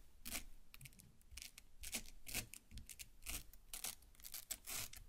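Long black nails pierce and scrape the soft red flesh of a large watermelon half. It makes irregular bursts of bright, wet, crunchy scratching over soft low thuds, with no ring after each stroke.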